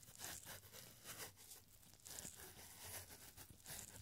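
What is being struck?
Thin paper scroll.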